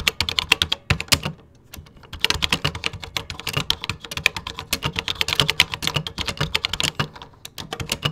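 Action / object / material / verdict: tap / plastic computer keyboard / plastic / none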